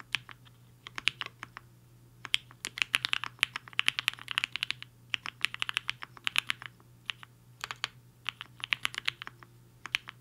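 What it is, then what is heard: Mechanical keyboard with plastic keycaps. Fingertips of both hands type fast on a compact mechanical keyboard with a black case and white and pink plastic keycaps, resting on a desk mat. Quick bursts of bright, sharp clacks centered around 2.4 kHz come in bunches with brief pauses between them, each tap dying out almost instantly. A faint, steady low hum runs underneath.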